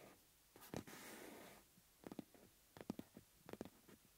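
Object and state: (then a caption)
Rubber bellows. A hollow yellow rubber bellows with metal rims is held upright while fingertips rub and tap its taut rubber surface. A soft, breathy rubbing hiss comes first, followed by clusters of quiet, dull, low-pitched taps that die away almost instantly.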